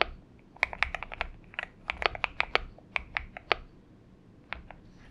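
Fingertips of both hands type continuously on a purple-backlit Xinmeng M71 70% mechanical keyboard with an aluminum case and PBT keycaps, resting on a desk mat. About twenty sharp, bright clacks come in quick bursts with almost no low end and no ring. A short pause falls before a few final keystrokes.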